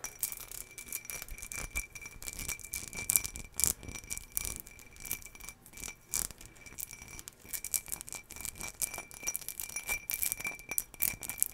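A hollow, empty ribbed green glass jar, held in hand, is scratched along its ribs with long fingernails. The result is a dense run of quick, bright, rattling scratches and clicks with very short ring and a faint steady glassy tone.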